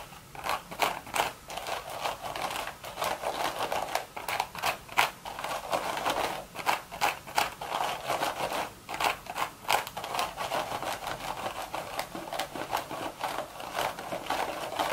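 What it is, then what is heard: Woven straw hat. Long red nails scratch the weave of a beige woven straw hat with a hollow crown. The result is rapid, irregular dry scratching strokes, crisp and papery, centered in the midrange with bright high edges and very little low end.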